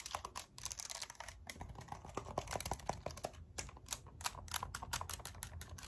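A pink and white handheld plastic graphing calculator with a hollow casing is held in hand and tapped on its keys and case with long acrylic nails. Rapid, crisp clicking taps follow one another over a low background hum, each tap dry and short with bright edges. Some taps land with a hollow midrange knock.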